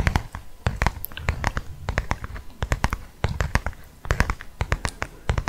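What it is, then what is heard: Leather wallet being tapped. Fingertips and nails tap on a closed black leather wallet with a snap tab, making many quick, dry taps in uneven bursts. Each tap has a soft low thump under a brief bright click and dies away almost at once.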